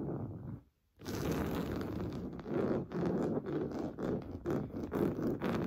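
Fingernails scratch the top surface of a large stuffed cream pillow covered in fine-weave fabric. A short scratching burst is followed by a brief silence, then quick, uneven scratching strokes about two per second. Each stroke makes a dry, rasping, fabric sound centered in the low mids.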